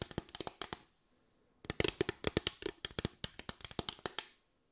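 Long white nails tap and scratch across a solid bamboo slatted board, a flat wooden board with raised parallel slats, making 24 quick, dry, bright clicks that stop almost instantly. A short burst of taps is followed by a brief silence, then a longer, denser run of clicking.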